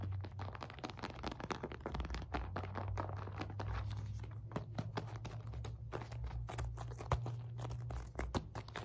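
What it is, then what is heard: Synthetic leather medicine ball. Long nails rapidly tap and scratch a solid red and white stitched synthetic leather medicine ball of 4 to 5 lb while it is turned. Quick, dry clicks and scratchy crunches flicker over a steady low hum, each tap dying away almost instantly.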